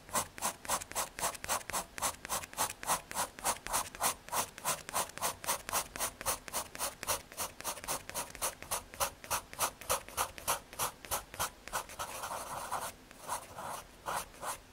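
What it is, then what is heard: Pencil scratching on MDF board. A graphite pencil makes rapid hatching scratches across the surface of a small square of thin, solid brown MDF fiberboard. About 59 short, bright, dry scratching strokes repeat in a steady rhythm of roughly three to four per second. Near the end, a brief continuous rub breaks the pattern before the strokes resume.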